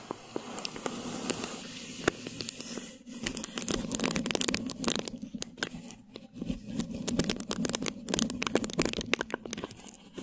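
Clear plastic film stretched over a mesh microphone head is rubbed with a flat hand, then scratched with the long nails of both hands. The result is close, dense crinkling and rustling full of sharp, bright crackles and scratchy clicks, with a steady low hum underneath. The scratching grows busier and more irregular in the second half.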